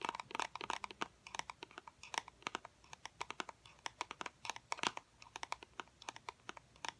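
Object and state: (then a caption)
Small cardboard box. Fingernails tap rapidly on a small, hollow white cardboard fidget cube box, producing about 46 quick, dry clicks in irregular bursts. Each tap is sharp and bright with a faint hollow tone near 1 kHz, almost no low end, and dies away almost instantly.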